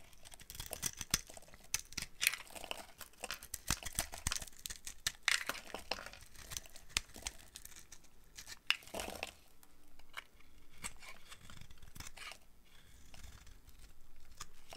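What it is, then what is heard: Dry soap bar being shaved. A box cutter blade shaves thin strips off the top edge of a solid, rectangular bar of dry, translucent orange soap with white stripes, held in one hand. The repeated scraping and carving make dry, bright, crinkly crunches and scratches in quick, uneven bursts. A softer, steadier scraping follows toward the end.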